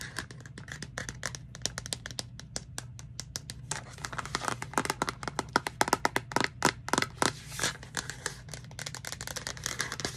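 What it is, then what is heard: Plastic reusable cup tapped with nails. Long nails tap and scratch the purple lid and side of a hollow pink plastic Starbucks reusable cup. Rapid, dry clicks with bright, short-lived attacks ride over a steady low hum, with soft scratchy rubbing between them. The taps grow louder and denser toward the middle before easing off.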